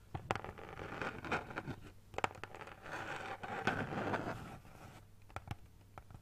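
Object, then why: Printed cardboard box. A flat white cardboard box with an Animal Crossing print, likely hollow, is held in both hands while fingertips and nails scratch and tap its surface. Dry, papery scratching comes in bursts, broken by short, sharp taps that die away almost at once. A faint low hum runs underneath throughout.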